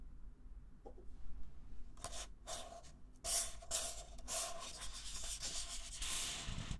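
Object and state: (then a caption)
Paper cup scratched. Fingertips and nails scratch and rub the sides and base of a single small, hollow, empty red-and-white disposable paper cup held upside down in one hand. Dry, bright scratching strokes come in repeated bursts over a steady low hum, growing louder partway through.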